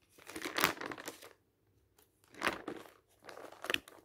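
Fingertips quickly grab and turn the thin coated pages of an open glossy paper magazine resting on a stack. Three bursts of bright, papery crinkling and rustling are separated by short quiet gaps.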